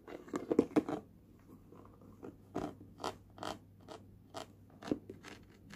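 A small, hollow, red printed Universal Studios Singapore tin box is held in the hand while a fingertip and nail tap and scratch its lid. A quick flurry of dry, clicky taps in the first second gives way to sparser, evenly spaced taps and brief scratches. The tin answers with a light, hollow midrange knock that dies almost instantly.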